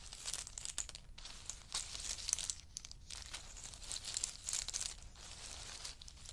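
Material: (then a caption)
Nut shell. Two wooden spoons stir and rake through a pile of in-shell pistachio nuts, their hard shells shifting against each other. The result is a quiet, continuous bright crackle of dense clicks and rattles that swells in short bursts and settles again, with almost no low end.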